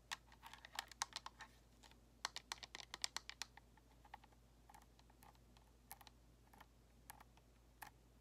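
Long nails tap rapidly on the shell and thumbsticks of a white, hollow plastic Xbox controller, producing sharp, bright plastic clicks that die away almost instantly. The tapping comes in dense bursts early on, then thins to softer, scattered taps over a faint steady low hum.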